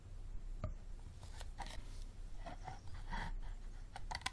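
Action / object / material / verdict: tap / plastic water bottle / plastic / none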